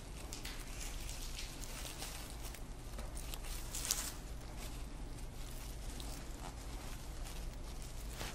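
Fingertips pull, twist and rub loose dried grass strands as they are woven into the rows of a hand-sized, hollow twined grass sock. The result is a continuous dry rustling and crinkling, with bright crackles over a steady low hum and a slightly louder crinkle near the middle.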